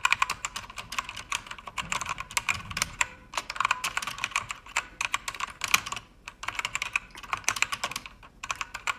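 Fingertips with long red nails type on a pink-backlit mechanical keyboard with plastic keycaps, producing rapid, bright, clicky keystrokes in bursts separated by brief pauses. Each sharp tap dies away almost instantly.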